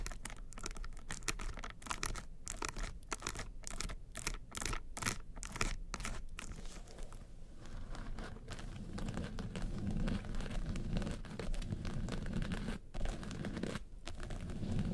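Long nails scratch the sides and lid of a small hollow hard makeup case covered in woven-texture yellow faux leather. For the first several seconds the scratching comes in quick, rapidly repeated strokes with brief gaps, then settles into a steady, rough, continuous scraping. The sound is dry and papery, with a dull hollow thump underneath.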